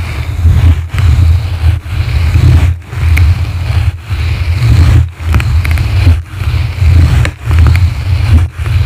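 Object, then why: Foam microphone windscreen scratched with plastic-bristle brushes. Two blue plastic-bristle brushes scratch a yellow foam microphone windscreen from both sides in nine separate strokes. Each stroke comes through as a deep, rumbling scrape with a faint bristly rustle on top, and short quiet gaps fall between the strokes.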